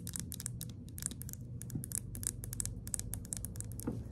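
A small, hollow, white-and-orange plastic Neutrogena serum pump bottle is held and tilted while long acrylic nails tap and scratch it. Quick, bright, clicky taps and scratchy rasps come in an irregular stream over a steady low rumble.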